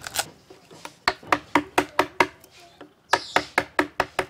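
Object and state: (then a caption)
Resonant rosewood (balafon wood). A piece of rosewood (palissandre), the wood used for balafons, is struck by sculptors, giving about 15 sharp, knocking hits with a bright woody ring centered near 945 Hz. The hits come in an uneven rhythm with a short pause in the middle, each decaying quickly. It sounds like a tom-tom drum and resonates well because it is balafon wood.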